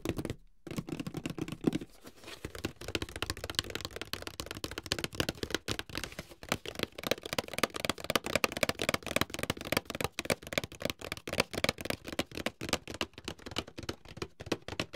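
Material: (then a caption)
Cardboard. Fingertips and nails tap and handle a medium, closed, hollow white paperboard box held in both hands. The result is a rapid, irregular stream of short, dry, hollow taps and light scratchy rustles. Each tap dies away almost instantly, with a papery, mid-range body and some bright edge.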